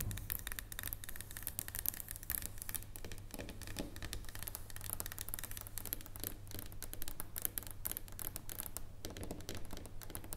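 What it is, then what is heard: Dark chocolate bar. Long nails and fingertips tap quickly on the surface and near edge of a solid dark chocolate bar resting on a wooden table. The result is a steady run of soft, dry clicks and light scratchy ticks that die out instantly, over a constant low hum.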